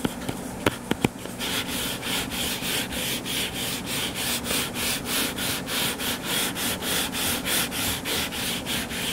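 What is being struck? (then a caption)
Closed hardcover book, cardboard cover. Fingernails work over the cover of a solid, closed hardcover book lying flat on a table: a few sharp taps at the start, then a steady run of rhythmic scratching and rubbing strokes. The strokes are dry, bright and papery, repeating at about a stroke and a half per second with a faint low hum underneath.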